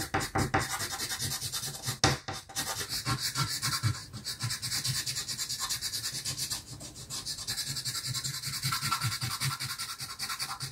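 A blue chalk stick is rubbed back and forth across the top area of a flat, solid black chalkboard sheet to colour in a sky. The result is a steady run of quick, dry, scratchy strokes with a bright, hissy texture over a soft low thrum, with a few sharper scrapes near the start and around the two- and four-second marks.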